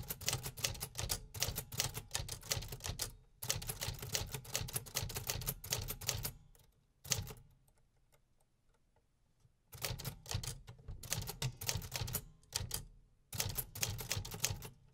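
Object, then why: Metal manual typewriter. Fingertips tap steadily on the metal keys of a 1950s vintage manual typewriter with a hollow housing, producing rapid, bright mechanical clacks over a low, hollow thump. The typing runs in bursts with brief pauses and a longer near-silent stretch in the middle before resuming.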